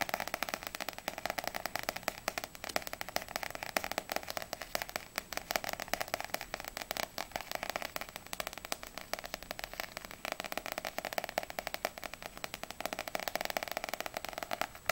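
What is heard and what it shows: Long nails rapidly tap and scratch the glossy paper cover and top edge of a small, solid paperback manga book, volume 2 of Ousama Game, held at an angle. The result is a dense, continuous stream of quick, dry, crisp clicks and scratchy rustling, bright and papery, with almost no low end.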